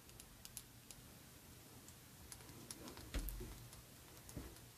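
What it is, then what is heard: Glass perfume bottle tapped with fingernails. An Aerin Tangier Vanille rectangular glass perfume bottle with a gold and brown cap, filled with liquid, is held in the hands and tapped with long red nails. Eleven quiet, sharp, bright clicks land at an uneven pace, each fading quickly over a low, steady hum.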